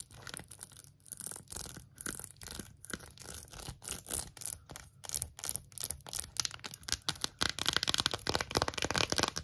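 An empty, hollow, rainbow 3D silicone phone case with colorful raised wavy hearts is scratched and tapped with long acrylic nails. It gives quick, irregular bursts of bright, crisp scratching and dry tapping that build in intensity toward the end.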